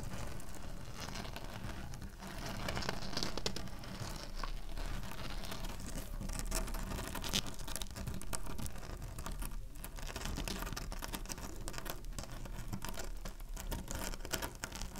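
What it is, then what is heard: Woven plastic placemat. Fingertips and long nails tap and drum on a flat, thin black-and-white woven plastic placemat lying on a table, with a cardboard soap box nearby left untouched. The result is a dense, steady patter of short, dry clicks and crinkly scratches over a low, dull thump, with almost no ring after each tap.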